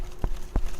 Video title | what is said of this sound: Clarrie's Greenhouse Tour | when it's mature you can pound on it and if it sounds Hollow then it's it's mature ... it doesn't sound hollow